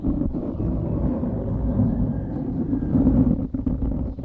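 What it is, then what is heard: Foam microphone windscreen being scratched. Fingertips scratch the sides of a dark grey foam windscreen on a microphone, producing a steady, muffled rustling and scraping. The sound is dense and low, with most energy below a few hundred hertz and almost nothing bright. It holds fairly even throughout, with brief dips near the end.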